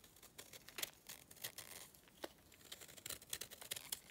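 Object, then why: Clay chunk scraped with a blade. A hand-held lump of solid dry clay has flakes scraped and cut from its corner with a utility knife blade. The sound is a quiet series of short, dry, bright scraping ticks and crackles with almost no low end, and the ticks are packed too closely to count cleanly.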